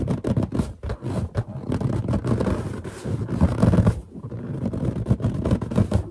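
Long nails scratch and tap on a large, hollow, inflated white latex balloon with a drawing on it, while fingertips grip and rub its surface. The result is a steady, dense run of dull, low, boomy scratches and soft taps, with occasional brief squeaks as fingers drag across the rubber.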